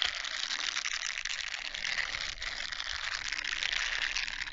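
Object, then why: Plastic mesh bath sponge. A small grey plastic mesh bath sponge, a loose hollow net puff, is held in both hands in front of a foam-covered microphone and scrunched, stretched and rubbed with the fingers. It makes a steady, dense crinkly scraping with a bright, hissy texture and almost no low end.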